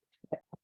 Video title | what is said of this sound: Sumi-e Bamboo (9/15/23 livestream recording) | you can hear that. There's a ceramic ball.